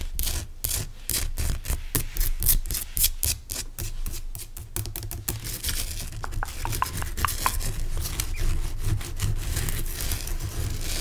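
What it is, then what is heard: Rock salt lamp scratched. Fingernails scratch and tap the rough front surface of a large, pale, solid rock salt lamp crystal. Quick, bright rasping strokes come in a steady run, then give way to denser, continuous scraping broken by a few sharper taps. A low rumble sits underneath throughout.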